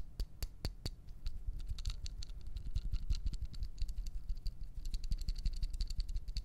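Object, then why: Small plastic lighter with metal hood. Fingertips and nails tap a small dark plastic disposable lighter with a metal top, held close up, striking both its plastic body and its metal hood. A few sharp, spaced clicks open the clip, then it settles into a quick, dense patter of light clicks and soft low thuds that lasts to the end.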